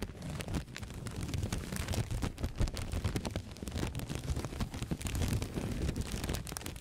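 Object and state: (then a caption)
Paper blotting sheets rubbed and crinkled. Two thin, flat white blotting-paper sheets are held by the fingertips and rubbed and crinkled close to the microphone. The result is a continuous, dense rustling crackle with a heavy low rumble underneath and many short, sharp snaps scattered throughout. The level swells and dips steadily over the whole clip.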